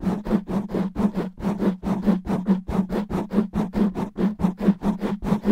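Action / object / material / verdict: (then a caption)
scrape / foam microphone windscreen / foam / none. Long natural nails of both hands scratch fast and roughly over a soft, porous black foam windscreen covering a microphone. About 19 rough, brushy scratching bursts come in a quick, uneven rhythm, each cut short with a steady low hum underneath. The sound is muffled, with little high-end brightness.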